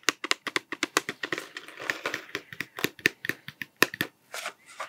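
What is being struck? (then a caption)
Cardboard tube with plastic cap. A hollow cardboard Smarties tube with a blue plastic cap, held upright, is tapped and scratched with fingertips. A quick series of short, dry, bright taps with a hollow papery ring around 1.8 kHz is heard, interrupted in the middle and near the end by brief scratchy rustling.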